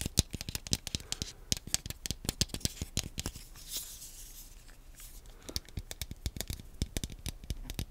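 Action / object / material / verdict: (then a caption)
tap / plastic handheld game controller / plastic / none. A small, hollow black plastic Wii nunchuk controller, held in both hands close to the microphone, is tapped and scratched on its shell with fingernails. Quick, sharp, clicky taps with a low thud and a bright edge come in rapid clusters, then give way to a quieter, hissy scratching across the plastic before the tapping resumes. Each tap dies away almost instantly, leaving dry, crisp clicks.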